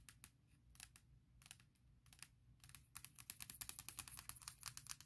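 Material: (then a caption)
Aluminum. Long fingernails tap on the closed aluminum lid of a MacBook Pro near the Apple logo, giving quiet, bright, dry clicks that die away almost at once. The taps come in scattered small clusters at first, then speed up into a rapid, steady patter for the last two seconds over a faint low hum.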